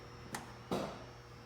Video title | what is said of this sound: Charger maintenance inspection | That noise you hear when I shake it, that pop in the back is there's aluminum front bushings in the rear leaf springs on this car.